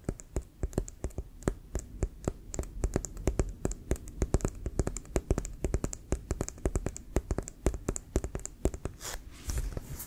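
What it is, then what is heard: Composite leather football, tapped. A full-size, inflated, hollow brown pebbled composite leather American football with a white stripe is held in the hands and tapped and scratched with fingertips and nails. Rapid, irregular, dull low thumps sound from its hollow body, each very short with a faint bright click on top. A brief scratchy hiss of nails on the pebbled surface comes near the end.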